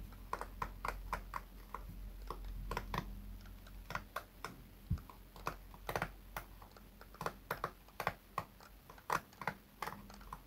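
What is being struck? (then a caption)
Plastic hairbrush with pin bristles. Fingertips strum and scratch the pin bristles of a small pink plastic hairbrush held in one hand, with a cushion under the bristles. The result is a quick, irregular run of short, dry plastic clicks and ticks centered near 1 kHz, each dying away almost at once. A steady low hum sits underneath.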